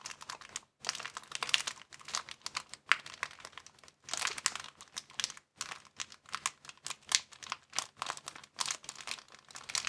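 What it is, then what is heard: Empty thin plastic bag. A thin, empty clear plastic bag is crumpled between the fingers of both hands. It makes dense, bright crinkling in bursts, separated by a few brief silent gaps, with sharp crackles that stop almost instantly.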